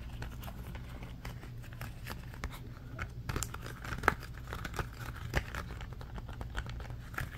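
A red ribbed silicone trivet mat is folded and crumpled in both hands while fingernails scratch along its ridges as it is squeezed. The result is a dense, fast stream of dry crinkling and scratching, with short sharp clicks standing out over a steady low hum.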